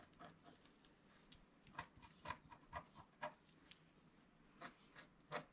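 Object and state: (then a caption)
Scratch-art card being scratched. A wooden stylus makes short scratching strokes on a flat scratch-art card of black wax-coated paper resting on a cloth-covered table, while the other hand steadies the sheet. The strokes come as quiet, dry, irregular scrapes with a faint tone near 1 kHz and bright hiss, each dying away almost instantly.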